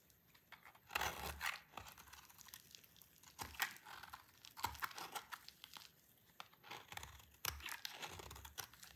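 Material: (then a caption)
Soap. A solid, dry orange soap bar held in the hand is scraped and shaved with a utility knife blade. Dry, crisp scraping and crumbling bursts come in several uneven strokes, bright and crackly with little low end, separated by quiet pauses.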